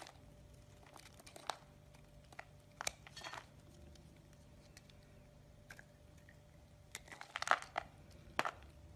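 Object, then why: Bar of soap shaved with a metal blade. A metal blade shaves the surface of a solid green bar of soap, sending curls of soap falling. Quiet, irregular crunchy scrapes and brief crisp crackles come in scattered bursts over a faint steady hum, with the sharpest, brightest scrapes near the end.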